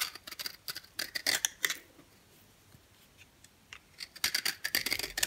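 A box cutter blade scrapes a yellow, oval, dry bar of soap held in the hand, shaving powder away. Quick, crisp, bright scraping strokes come in bursts, fall to near silence in the middle, then return in a dense run at the end.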